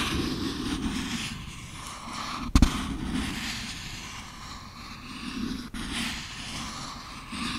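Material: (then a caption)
Cardboard. Fingertips and nails tap and scratch the side of a small, empty, printed cardboard product box with its top flaps open, held in one hand close to the recorder. A continuous low, rustling scratch runs throughout, broken by two distinct taps: a sharp, loud one near the middle and a fainter click later on.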